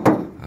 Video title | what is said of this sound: honda crv 2011 m/t dijual wa 081390722655#crv #hondacrv | suaranya nyaring eh kedengeran 1 RT ya kalau digedor dengan keras